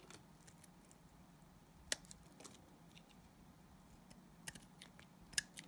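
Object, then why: Glycerin soap bar scraped with a knife blade. A utility knife blade scrapes thin sheets off a solid translucent orange glycerin soap bar, making soft crisp scratches and sharp, bright clicks over a low steady hum. The sharp scraping snaps stand out clearly, with the loudest near the end, and each dies away almost instantly.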